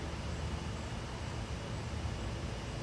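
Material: Nothing is struck.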